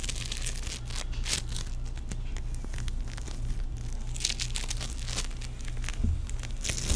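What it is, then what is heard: Foam-bead play foam being squeezed. A small, solid teal ball of tiny sticky foam beads is squeezed and stretched between the fingertips of both hands. It gives off dense, bright crackling and crinkling with quick tearing pops over a steady low hum. The sound stays at an even, moderate level throughout.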